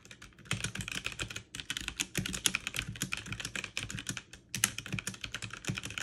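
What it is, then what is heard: Plastic mechanical keyboard. Fast typing on a backlit mechanical keyboard with plastic keycaps, two hands tapping quickly with fingertips and long nails. Dense, bright, clicky keystrokes rattle in rapid bursts with a few brief pauses, each click short and dry.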